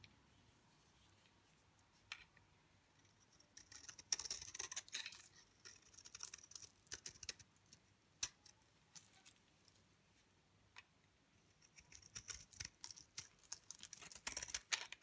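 A utility knife blade scrapes and shaves thin curls off a dry, solid, pale cream-green rectangular bar of soap held in the hand. Crisp, bright scratching and crackling come in irregular bursts, with quiet pauses between the flurries, and there is almost no low end.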